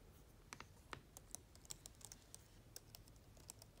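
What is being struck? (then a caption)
Plastic laptop keyboard. Long-nailed fingers type on the black plastic keyboard of an open laptop, producing about seventeen quiet, sharp, bright clicks and ticks at an irregular pace. Each tap dies away almost instantly over a faint, steady low background.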